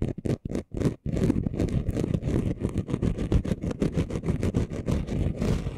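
Short nails scratch the rough surface of a flat, chunky gold glitter craft sheet. A few separate strokes come first, then quick, continuous scratching follows. The gritty rasp has a heavy low rumble and faint bright edges.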